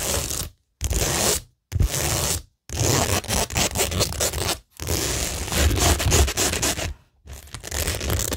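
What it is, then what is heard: Rhinestone-covered cork board being scratched. Long nails scratch and rub across a flat, solid framed cork tingle board covered with a pink rhinestone mesh sheet and pearl stickers. Gritty, bright scraping comes in bursts separated by short silences, with a low rumble beneath the textured rasp.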